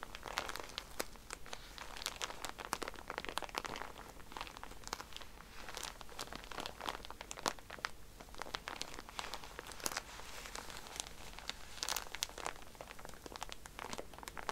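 A soft pack of cotton pads in a plastic wrapper is squeezed and crinkled by hands, then scratched with nails while it lies flat. The result is a continuous stream of dense, bright crackling and crinkling, made of many short, dry ticks with soft rustling underneath.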